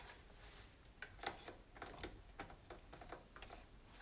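A hand rubs and wipes with a cloth around the knobs of a white plastic control panel on an electric range, its hollow housing answering each touch. About nine light, sharp clicks and taps stand out over a soft, steady rubbing hiss. The clicks decay quickly and the overall level stays quiet.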